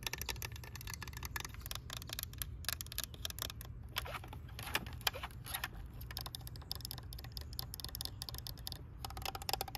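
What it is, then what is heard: Hollow plastic toy tractor. Long nails tap and scratch the hood and orange part of a green hollow plastic toy tractor with rubber-look wheels, giving a steady run of quick, bright clicks and short scrapes. The taps are dry with almost no ring, over a low rumble that continues underneath.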